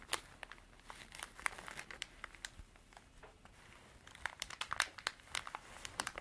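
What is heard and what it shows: Long dark artificial nails scratch and tap a small cream canvas zippered pencil pouch that is soft and hollow. The result is a quiet, steady crinkly scratching broken by many short, sharp, bright taps, with almost no low end and no ring after each tap.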